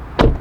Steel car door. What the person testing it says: that's a very nice and solid sound of the closing door